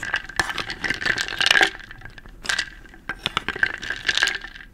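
A medium wooden bowl filled with small round wooden beads, held in one hand, is stirred and scooped with a wooden spoon so the beads clatter against each other and the bowl. Dense, dry, bright clicking comes in busy bursts, the loudest near the middle of the first half, with a quieter stretch before the clatter picks up again. Each click dies away almost instantly, with no ringing.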